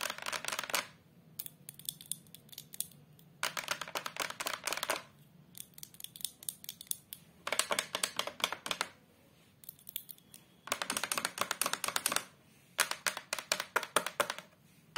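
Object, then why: Hardboard back of a photo frame. Long colored acrylic nails tap and scratch the flat brown hardboard back of a face-down photo frame fitted with a small metal hanger. Dense bursts of fast, crisp, dry clicking and scraping alternate with quieter stretches of sparser taps, with no ring after each contact.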